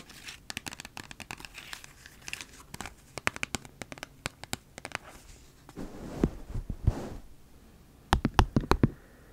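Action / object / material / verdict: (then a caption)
tap / flattened plastic toothpaste tube / plastic / none. Long nails tap and scratch the surface of a flattened, empty plastic toothpaste tube, making a quick, irregular run of sharp clicks. Midway the taps give way to a softer, crinkly rustling scratch, then a final cluster of louder taps closes it out.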